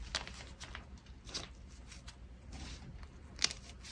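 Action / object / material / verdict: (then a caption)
scrape / gym chalk chunks (magnesium carbonate) / chalk / none. Fingers pinch, crush and rub small pieces from a mound of soft white gym chalk (magnesium carbonate), crumbly chunks and powder. Quiet, dry, bright crunches and crackles come in short bursts over a low, steady background rumble, with a sharper crumble near the end.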